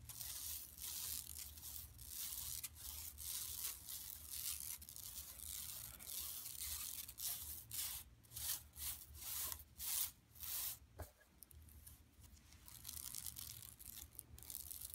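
Long nails of both hands scratch across the printed front of a large, flat, empty yellow woven plastic mesh tote lying on carpet. The result is a bright, dry, rasping scratch that runs steadily, then breaks into separate short strokes partway through, over a faint low hum.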